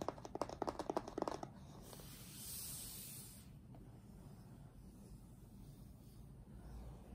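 Fingertips of both hands tap quickly on the top face of a closed, printed cardboard retail box for an Apeach keyboard, which is hollow with the product still inside. About a dozen soft, dull, hollow taps come in a fast, uneven burst over the first second and a half. The tapping then gives way to a quiet, low background rustle with a brief, faint, bright hiss in the middle.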